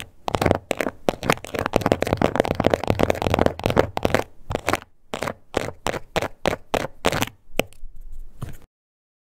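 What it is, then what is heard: Textured leather card holder. Long nails tap and scratch the surface of a small pink croc-embossed leather card holder up close. A dense run of dry, crackly taps and scratches fills the first half, then breaks into shorter separate bursts with brief gaps before stopping near the end.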